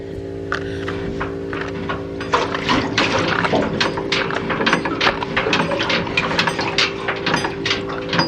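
A cracked aluminum pontoon boat tube is shaken, and water sloshes and splashes inside it in irregular bursts over a steady background hum. The water then runs out through the crack, showing that the tube is leaking and needs to be cut out and welded.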